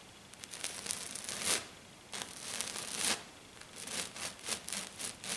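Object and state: Glitter sheet being scratched.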